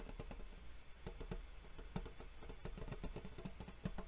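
A gold embossed metal Yu-Gi-Oh tin, a hollow rectangular box held at the sides, is tapped across its lid with a fingernail. A steady run of quick, dull, hollow taps with a low, boxy resonance dies away almost instantly over a faint low hum.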